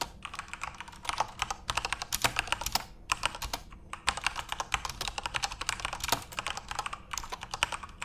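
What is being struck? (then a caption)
Mechanical keyboard with plastic keycaps. Fingertips type steadily on a full-size, RGB-backlit Corsair mechanical keyboard with plastic keycaps. Bright, crisp plastic clacks come in quick bursts with short pauses between, each keystroke dying out almost at once.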